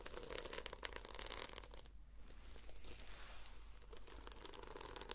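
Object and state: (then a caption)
Sequin-covered notebook scratched with fingernails. Long fingernails slowly scratch and brush the red reversible plastic sequins on the fabric cover of a solid, palm-sized notebook. A dense, bright, crinkly scratching rustle thins out briefly around the two-second mark, then builds back into steady scraping with a low hum underneath.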